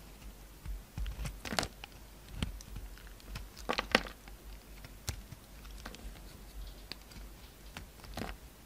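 A utility knife blade shaves curls off a solid white oval soap bar with a red outer layer, held in the hand. Short, dry scraping and cutting strokes come in irregular bursts, each crisp and bright with a quick fade, over a soft low rumble.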